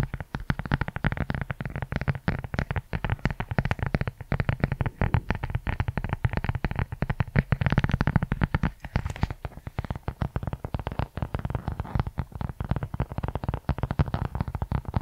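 Fingertips and nails tap and scratch the surface of a medium-size brown leather journal cover with a tie string, solid and flat and held in both hands close to the microphone. A dense run of soft, quick, low-pitched taps and brushing scratches with almost no ring continues for the whole clip, building briefly to a fuller rustle around the middle.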